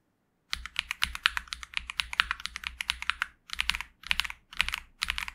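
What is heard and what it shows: Fingertips press and tap the keys, mostly the arrow and right-side keys, of a pink 65% Xinmeng M71 mechanical keyboard with TTC Superman switches and purple, black and pink plastic keycaps resting on a desk mat. After a brief silence, bright, crisp plastic clacks come in a fast run, then in several shorter bursts with small pauses between them. Each click is sharp and dies almost instantly, with very little low-end thump.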